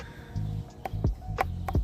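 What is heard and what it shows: A small Sugar Baby watermelon growing on the vine in a garden is tapped four times, giving hollow-sounding, low thumps with a brief ring near 760 Hz that dies away almost at once. The hollow sound suggests it may be ripe.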